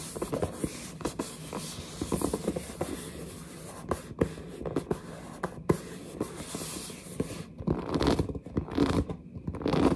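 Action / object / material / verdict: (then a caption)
scrape / cardboard headset box / cardboard / none. Long nails scratch and tap across the front of a large, hollow, printed cardboard headset box. Dry, scratchy rubbing mixes with quick, dull taps that stop short with almost no ring. Denser, louder scraping builds toward the end.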